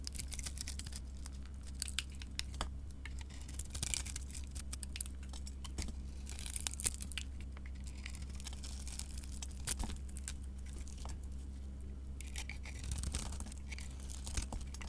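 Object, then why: Soap bar with a gold coating. A solid white soap bar embossed "Ivory" with a gold coating is held in the hand and scraped with a flat metal blade. The result is a steady run of crisp, bright crackling and crumbly scraping ticks over a constant low hum, with a few sharper snaps standing out.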